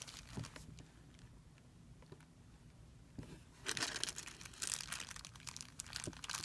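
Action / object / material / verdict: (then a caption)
scrape / thin plastic film bag / plastic film / none. Fingertips crumple a thin, clear plastic film bag on a white surface and press it flat. Soft, scattered crackles for the first few seconds give way to louder, dense, bright crinkling in the second half.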